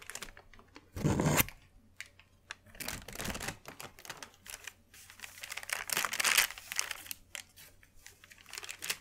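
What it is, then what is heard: Sheet of wrapping paper. A large, thin, white sheet of crinkled wrapping paper is unfolded and smoothed with flat hands, making crinkling sounds. Bright, dry crackles come in three louder bursts, near the start, middle and end, with quieter rustling between. A faint steady low hum runs underneath.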